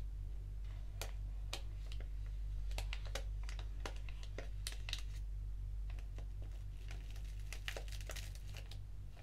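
A small, flat, black foil-lined paper tea sachet of Organic English Breakfast is held and crinkled while long nails scratch along its edges. Quick, irregular bright crinkles and clicks arrive in rapid succession over a steady low hum that carries most of the energy.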